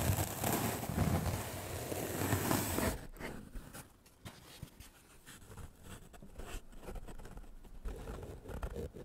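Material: Melamine foam.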